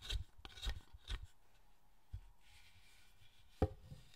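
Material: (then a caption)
Wood. A steel chisel cuts and scrapes a large, solid pale-wood statue held on a workbench, in repeated strokes. Six short, dull, low thuds stand out, the first three in quick succession, each with a bright, rasping scrape and almost no ring. A softer scraping hiss fills the pauses between them.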